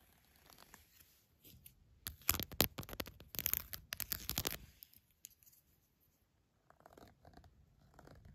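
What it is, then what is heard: Silicone glove being scratched. The smooth textured side of a green silicone glove is scratched with fingertips, nails and a red pen. Faint, uneven scratching builds into a loud stretch of dense, bright, rasping strokes in the middle of the clip. It then drops to near silence before softer scratches return at the end.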